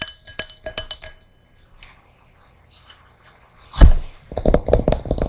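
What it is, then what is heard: Small brass singing bowl. Long nails tap the inside of a small, empty, hollow hammered brass singing bowl, producing a quick series of bright, ringing clinks with high overtones that fade fast. After a quiet stretch and a low thump, the bowl is upside down and the nails tap its outside in a faster run of duller, lower-sounding taps.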